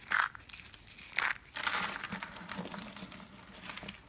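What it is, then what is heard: Dry soap curls crushed by hand. Small hollow blue and yellow striped dry soap curls are crushed in the hand with the fingertips into flakes. Dry, crisp crunching and crinkling comes in bursts, with sharp bright snaps near the start, around 1.2 seconds and from about 1.5 seconds, then trails off into finer crackles.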